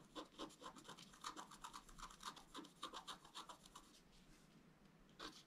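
A wooden stylus scratches tree branches into a flat scratch art paper card, making quick, dry, rasping strokes at about four per second with a bright, papery hiss centered around 1 kHz. The strokes come unevenly, fade to a faint rub after about four seconds, and end with one final louder scratch.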